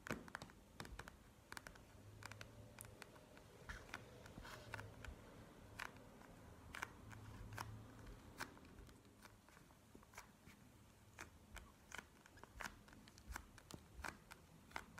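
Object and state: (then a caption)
Plastic gel-bead eye mask. Long nails tap and scratch a plastic gel-bead eye mask lying flat on a table. The result is a quiet stream of sharp, bright clicks at an irregular pace, with short scratchy passages and a soft low hum underneath.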